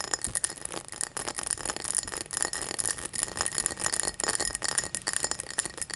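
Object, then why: Tall drinking glass. A tall drinking glass is tapped and scratched in quick succession, giving bright, clear clinks and high scraping textures. The dense, continuous activity carries a faint steady tone around 2 kHz, with possible music underneath.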